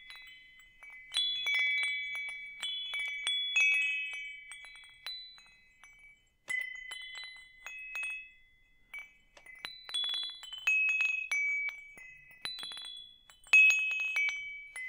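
A hanging wind chime with hollow metal tubes and a wooden top is dangled from one hand and swayed. Its tubes strike in irregular clusters of bright, overlapping tones centered around 2.5 kHz, each ringing briefly before fading. A short near-silent pause falls around the six-second mark.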